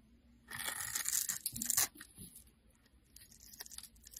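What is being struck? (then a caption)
Bar of soap cut with a knife. A knife blade cuts a grid into a solid purple and cream striped bar soap held in hand and scrapes off small cubes. A bright, dense scraping-crunch swells over about a second and a half, then trails into sparse, faint scrapes and crumbly ticks.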